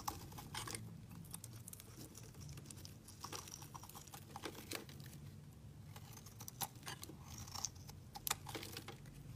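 A solid white bar of soap held in the hand is shaved into strips with a snap-off utility knife blade. The result is quiet, dry, crisp scraping and crackling bursts with bright edges, repeated irregularly over a steady low hum.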